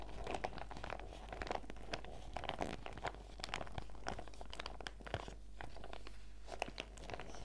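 A small transparent PVC zip pouch with a fruit print, full of face-mask sachets, is held in both hands while fingertips and nails squeeze and crinkle the plastic. Dense, crackly crinkling comes with many short, sharp ticks and snaps that die away almost instantly, over a steady low hum.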